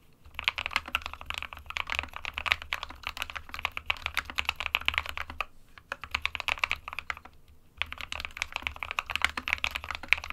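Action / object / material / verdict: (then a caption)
tap / plastic mechanical keyboard / plastic / none. Fingertips of both hands type on a small 60% white plastic-cased SK61 mechanical keyboard with plastic keycaps resting on a desk mat. Rapid, bright plastic clacks and clicks run continuously, with short pauses near six and seven seconds before typing resumes. There is a faint low thud under each stroke.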